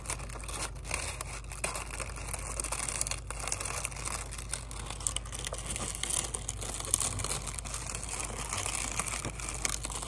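Brown kraft paper honeycomb packing wrap, light and hollow-celled, is stretched, squeezed and crinkled with the fingertips close up. The result is a steady stream of dense, dry crinkling and small crackles with a bright, papery edge, over a constant low rumble.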